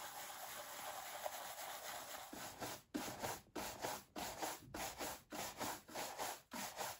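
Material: Leather.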